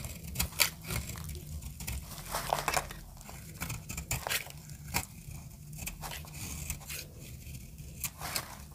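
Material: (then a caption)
Soap. A solid orange dry soap bar held in the palm is carved with a metal blade into brittle shavings. Repeated crisp, dry scraping and crackling cuts sound bright and short, over a steady low hum.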